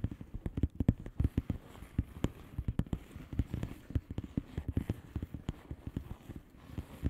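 Long fingernails on both hands tap across the bubbles of a flat blue plastic bubble wrap envelope. The result is a rapid, uneven run of soft, dull, low-pitched taps that die away almost instantly, with no bright edge.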